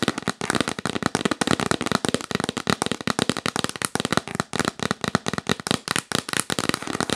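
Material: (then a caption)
Cardboard. Long nails tap fast on the lid of a yellow printed cardboard box held upright in the lap. A rapid, continuous run of sharp, dry, clicky taps fills the clip, each one short and broadband with no ring.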